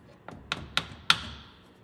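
Four sharp, bright taps, each louder than the last, as a new rubber-and-metal rear transfer case output shaft seal on an 1988–98 OBS Chevy 1500 is driven into the case through a small block of wood. Each tap is a short, high knock, and the final one rings on a little longer. The seal is still going in and is not yet fully seated.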